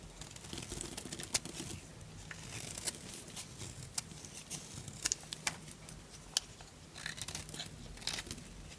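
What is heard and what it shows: A solid white Duru bar of dry soap, held in the hand, is scraped and cut with a small purple-handled knife. Bright, dry crunching and crinkling scrapes repeat with sharp crisp snaps, over a faint low hum.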